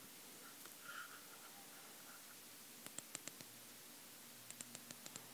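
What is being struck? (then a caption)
Ceramic CPU chip with metal pins. Fingertips rub and scratch across the grid of gold-plated pins and the edges of a small, flat, square, solid ceramic CPU chip held in both hands above a wooden cigar box. Faint, soft rustling comes first, followed by two bursts of sharp, bright little ticks over a quiet steady hiss.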